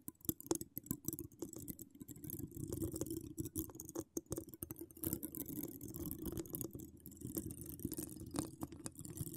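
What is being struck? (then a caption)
Woven metal mesh microphone grille. Long decorated acrylic nails scratch a hollow woven metal mesh microphone grille with no cover. The result is a close, continuous rasping texture with a steady low-mid band, punctuated by many quick, dry clicks and bright ticks that stop almost instantly.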